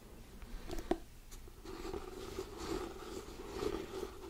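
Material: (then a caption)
Cardboard. Fingertips and nails scratch and tap the glossy cardboard cover of a hardcover paper book. Soft, quiet scratching runs throughout, with a few light, sharp taps standing out over a low, steady tone.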